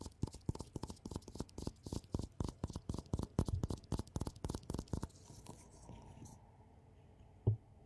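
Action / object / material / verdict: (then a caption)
tap / ceramic mug / ceramic / none. A black glossy ceramic mug with a handle, hollow and held in gloved hands, is tapped rapidly with gloved fingertips for about five seconds, giving dozens of short, dull, low-pitched knocks with very little ring. A soft rustle follows, then one last tap near the end.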